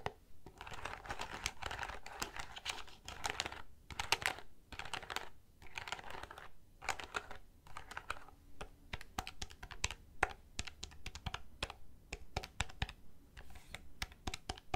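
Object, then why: Plastic desk calculator keypad. Fingertips rapidly tap the keypad buttons of a black plastic desk calculator with a hollow casing. The result is a steady stream of quick, dry plastic clicks with hollow low knocks and bright edges. Each tap stops at once, with no ring.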